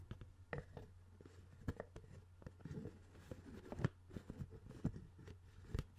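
A hand-sized, hollow CD spindle case, a clear plastic dome lid on a black plastic base with discs inside, is held in one hand close to the microphone while the other hand's fingertips tap and scratch the clear lid. About fifteen short, dry, quiet taps ring out over a soft scratching rustle and a steady low hum. The taps die away almost instantly.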